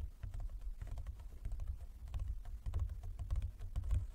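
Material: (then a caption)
Wood. Fingertips and nails of both hands tap on a large, closed, hollow wooden folding chess board. The result is a quick, irregular patter of soft knocks with a low, hollow body. Each knock carries a faint bright click and fades in a fraction of a second.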